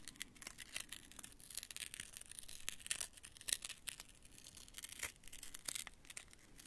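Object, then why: Rolled card paper rings. A small handmade prop of rolled white card or paper strips formed into hollow rings is held in both hands and squeezed and rubbed with the fingertips. It gives quiet, bright, crunchy crinkles and scratchy rustles in quick, uneven bursts with brief sharper snaps. There is little low end and no ringing after each crunch.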